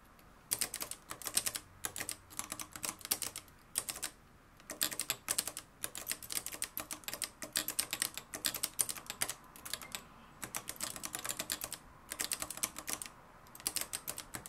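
Fingertips type continuously on the dark plastic keys of a mustard-yellow, plastic-cased manual typewriter with a metal mechanism. The result is rapid, dry, bright clacks in bursts separated by brief pauses, with little low-end thump.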